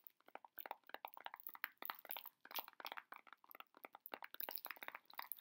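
Fingers on both hands squeeze and scratch the cellophane wrap on a heart-shaped chocolate box held close. The result is a quick, dense run of sharp, crinkly crackles with bright upper tones and almost no low end.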